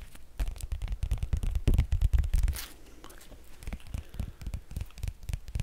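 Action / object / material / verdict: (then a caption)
tap / laminated cardboard board book / cardboard / none. Fingertips and nails tap and scratch the thick glossy laminated cardboard cover of a small shaped Sesame Street board book, "Splish Splashy Day," held in the hands. Quick, dull, bassy taps come in an uneven stream, loudest around the middle. They then ease into softer scraping and lighter tapping.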